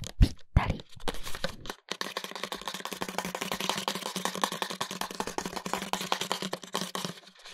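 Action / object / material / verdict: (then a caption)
tap / small printed cardboard box with a plastic window / cardboard / none. A small rectangular printed cardboard cosmetics box with a plastic window, holding a bottle of hair oil, is held in the hands while fingertips and short nails tap and scratch its front and back faces. A couple of louder knocks open the clip, then a dense, steady run of quick, dry taps and crinkly scratches continues to the end.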